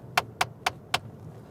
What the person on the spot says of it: that is the sound of me tapping my ring on the dashboard top